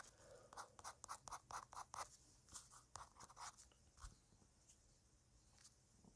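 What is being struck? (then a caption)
Paper drawing sheet. A fine-liner pen taps dots and scratches short strokes onto a flat white paper drawing sheet lying on a table, with a lavalier mic resting on the paper. A quick, uneven run of crisp scratchy ticks with a bright, papery edge is heard, louder in the first half, then thinning to faint scratches over low background noise.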